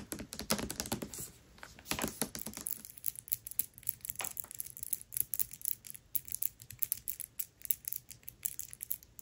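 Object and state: Hardcover book with paper dust jacket.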